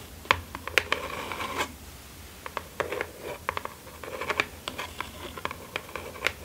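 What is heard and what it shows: Long acrylic nails scratch and tap the top and sides of a small, closed, hollow kraft cardboard mailer box lying flat on satin fabric. Dry, bright scratches and sharp, short taps come in irregular bursts, with brief scraping passes in between.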